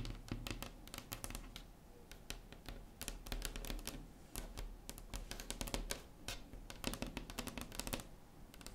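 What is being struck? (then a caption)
Wooden tabletop tapped with acrylic nails. Long acrylic nail tips tap quickly across a large, solid, flat wood-grain tabletop, like typing. The sound is a dense, irregular run of sharp, bright clicks over a steady low rumble, each tap dying away almost at once.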